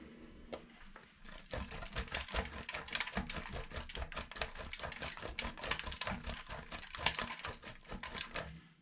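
A solid yellow bar of soap is rubbed fast by hand over a stainless steel box grater, leaving yellow shavings on the holes. A rapid run of short, bright scraping strokes rasps on steadily for about nine seconds with a little low thump beneath.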